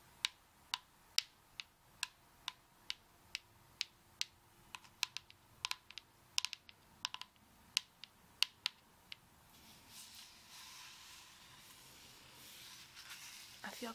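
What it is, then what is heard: Coconut tapped with nails. A beach coconut is tapped again and again with long acrylic nails, giving a steady run of sharp, bright, dry clicks with almost no ring. After about nine and a half seconds the tapping stops, leaving a soft, hissy rustle.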